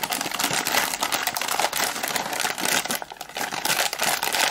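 A hand-sized, colorful Zinga Lala plastic foil chips packet, hollow and partly filled with puffed corn snacks, is squeezed by bare fingertips that crinkle and rub it. The result is a dense, continuous, bright crackling with almost no low end, rising and falling in waves with a brief quieter dip midway.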